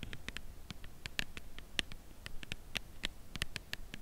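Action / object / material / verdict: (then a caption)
tap / cardboard chocolate bar box / cardboard / none. Long nails tap quickly on the front of a full cardboard chocolate bar box held at an angle. The taps are light, dry and clicky, each bright and very short with almost no ring, over a faint low rumble.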